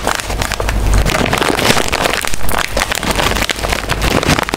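A small, full, sealed metallized-plastic chip bag is held in the hands while fingertips and long nails crinkle and scratch it, and at the end it is held up and moved. The result is a steady, dense stream of bright crackling and rustling, with a low rumble underneath in the first second.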